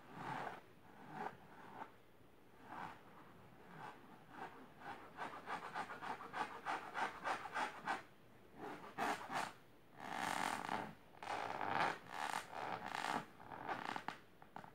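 Long silver nails scratch fast across the fabric of a large pink patterned fabric-covered storage box or ottoman. The result is a dry, raspy scratching in quick, uneven bursts, with brief pauses between runs of strokes. It has a bright, papery edge and little low end.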